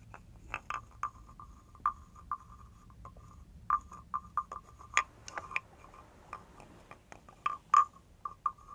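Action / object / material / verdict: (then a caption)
scrape / carved wooden frog guiro scraped with a wooden stick / wood / none. A hand-held carved wooden frog guiro with a ridged back has a wooden stick scraped along its ridges, producing short, dry, croaking rasps. The rasps repeat irregularly with a woody tone around 1.2 kHz and brief bright edges, each dying away almost instantly.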